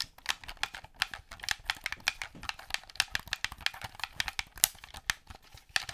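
A black, hollow plastic gamepad controller held in both hands has its buttons clicked and its surface tapped with painted nails. A rapid, uneven stream of sharp, bright clicks and taps is heard, each dry with almost no ring. There is very little low end.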